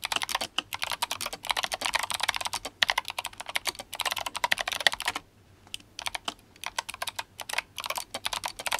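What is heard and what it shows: Fingertips of both hands type fast on an RGB-backlit GMMK Compact mechanical keyboard with clicky Kailh Box White switches and plastic SA keycaps. Rapid, bright clacky keystrokes run in dense bursts, with a brief pause around the middle of the clip before the typing resumes.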